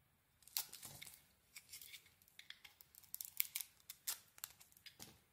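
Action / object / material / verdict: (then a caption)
scrape / bar of soap cut with a metal blade / soap / none. A metal blade carves curls off a blue and cream bar of soap, making a series of quiet, crisp scraping and crackling cuts. The sound is bright and dry, with almost no low end and no ring after each stroke.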